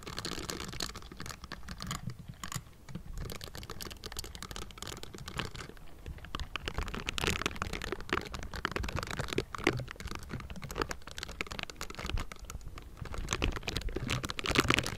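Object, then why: Metal mesh microphone grille rubbed with silicone bristles. The bristled fingers of pink silicone scrubbing gloves scratch and tap the metal mesh grille of a Blue Yeti microphone. A dense, continuous layer of crackly, bristly scratching is broken by quick, dry taps, with low thumps underneath and a bright hiss on top. It stays busy throughout and grows louder toward the end.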